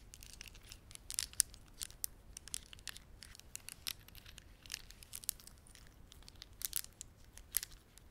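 A plastic beaded ornament is squeezed in the hands by the fingertips, giving a quiet, steady stream of bright, crisp clicks and crackles. The clicks have almost no low end or ring, with a few sharper, louder snaps standing out.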